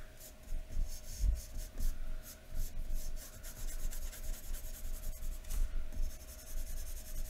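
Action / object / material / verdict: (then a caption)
scrape / graphite pencil on thin drawing paper over a wooden table / paper / none. A graphite pencil held in the fingers scratches across thin white drawing paper lying flat on a wooden table in continuous shading strokes. Each stroke gives a soft, bright, papery rasp that swells and fades in a steady back-and-forth rhythm. A low steady hum runs underneath throughout.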